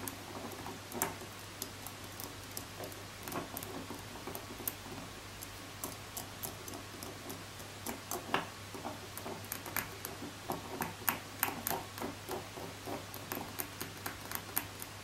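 Long nails tap and scratch the two flower-shaped roller heads and curved frame of a transparent pink plastic massager resting on a wooden table. The result is an irregular run of quiet, sharp clicks with bright, crisp edges and light scratching, over a faint steady low hum.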